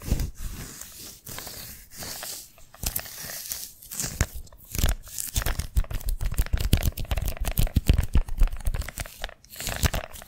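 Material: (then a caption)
Adhesive paper. Painted fingernails scratch and tap the white adhesive paper roll of a hand-sized lint roller held in the hand. The result is a dense, irregular run of sticky, crackling tearing and crinkling sounds with soft low thumps underneath. The bursts grow busier and louder through the second half.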